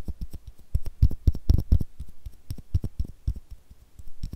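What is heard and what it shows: Long nails scratch and tap a small, hollow blue plastic screw cap in a rapid, irregular run of short, dry, close-up clicks. Each tap has a soft, low thump, with faint bright scratchy edges and almost no ring.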